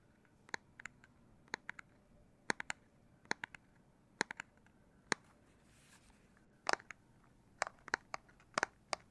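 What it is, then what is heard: Plastic handheld game console tapped. Fingers tap on the plastic back of a Nintendo Switch Lite handheld game console in irregular, clustered bursts. Each tap is a short, dry, bright click centered around 1.7 kHz, with no ringing, over a quiet, faint background.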